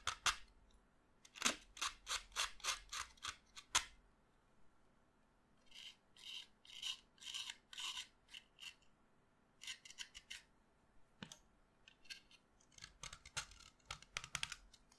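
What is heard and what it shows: A solid pastel green chalk stick is scraped and cut with a utility knife blade held in the other hand, over a pile of chalk dust. Quick, bright, raspy scraping strokes come in rapid bursts with short pauses between, each stroke ending abruptly. No low rumble is heard beneath them.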